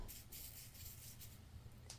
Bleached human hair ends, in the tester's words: Do you hear how crispy that sounds?